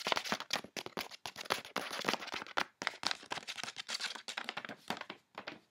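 Fingertips and nails rapidly scratch and tap the surface of a medium-sized flat parcel wrapped in white MANGO-logo paper with soft clothing inside. The result is a quick run of dry, bright, crinkly paper scratches and taps with no ring between them.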